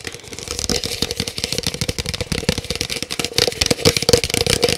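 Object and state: Large paper cup tapped rapidly.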